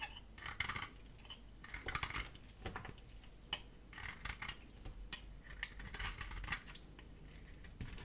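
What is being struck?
Bar of soap scraped with a metal blade.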